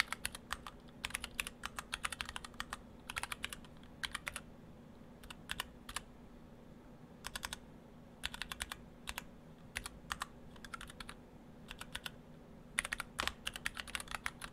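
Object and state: Mechanical keyboard with PBT keycaps.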